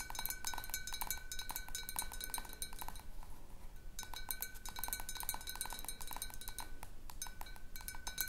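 Long fingernails of one hand tap rapidly on a large clear glass jar partly filled with water, producing quick, bright ringing clinks with a steady tone near 1.5 kHz. The tapping runs in irregular bursts, pauses briefly around the three-second mark, then resumes. A low background rumble sits under the clinks throughout.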